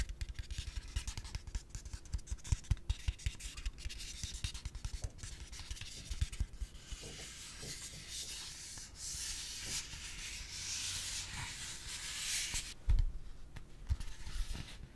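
A hand-sized yellow hollow plastic pig-shaped piggy bank with a pink snout is held in one hand and rubbed and scratched with the fingertips of the other. Soft, continuous scratchy rubbing fills the clip with a bright hiss and frequent small low thumps, and it swells into louder, brighter rubbing passages around the middle and just before a sharper knock near the end.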